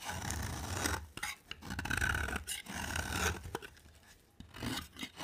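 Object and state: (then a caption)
Dry bar soap, scraped. A box cutter blade scrapes along a dry, rectangular cream bar of soap with a green edge. Long, dry rasping strokes with a gritty, bright texture rise and fade in waves, broken by brief crisp clicks and a quieter pause before a final scrape.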